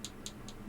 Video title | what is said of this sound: Salesman Case Waltham - Some Issues | you can tell by tapping it whether it's plastic or not